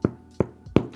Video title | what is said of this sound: I Baked the Same Sourdough 4 Ways – Here’s What Changed | I think it's not burnt. It's perfect. And it sounds hollow.